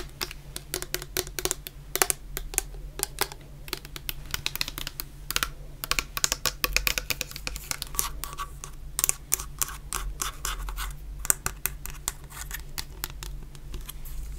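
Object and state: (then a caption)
Plastic shower gel bottle tapped and scratched. A medium clear plastic bottle full of orange shower gel is tapped and scratched with long nails. The result is a rapid, irregular stream of sharp, bright clicks and scratchy rasps, each dying away almost instantly, over a steady low hum.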